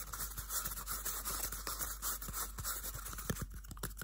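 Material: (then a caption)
Cardboard. A small, hollow, empty cardboard toilet paper tube is scratched with bare fingernails, giving a dry, brushing scrape with a bright, hissy top. Short scratchy strokes keep repeating throughout, and a low hum sits underneath.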